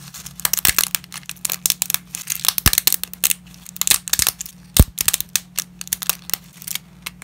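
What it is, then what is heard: Dry lasagna pasta, brittle. Gloved fingers snap dry lasagna shards over a dense layer of broken pasta, making a rapid run of sharp, bright, dry cracks and crinkles that stop instantly. A steady low hum sits underneath throughout.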